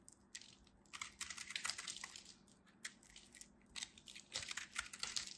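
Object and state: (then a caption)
Pressed soap-flake ball being carved. A knife tip carves into the surface of a solid, hand-held ball of pressed soap flakes, crumbling pieces off. The result is a quiet run of dry, bright, crackling crunches in irregular bursts, with almost no low end.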